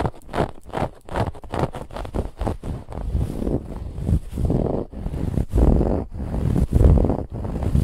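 Fingernails aggressively scratch the woven lattice band on a soft white cushion. The result is a rapid, uneven run of rough, dull scratching strokes, heavy in low rumble with faint high hiss, swelling and dipping with each pass.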